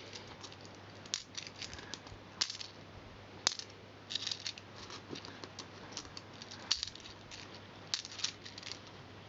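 Small solid copper and silver coins are picked from the carpet and dropped one by one into a cupped palm, clinking onto the other coins. The quiet clip is a steady run of short, bright metallic clinks and light jingles that die away almost instantly, over a faint low hum.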